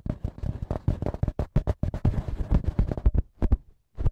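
Fingertips and short nails rapidly tap and scratch the small metal X-Y microphone capsules of a TASCAM handheld recorder, with the hands staying on the capsules throughout. The result is a dense run of close, dull, bass-heavy thumps with quick decay and faint scratchy texture, ending in a brief pause and one final tap.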